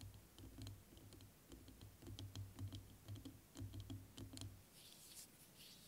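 A clear plastic liquid motion timer with a yellow cap, about hand height and partly filled with green liquid, is tapped and scratched with fingertips and nails. Soft, irregular taps and sharp clicks carry a low, dull body resonance. Near the end they give way to a faint, bright scratching.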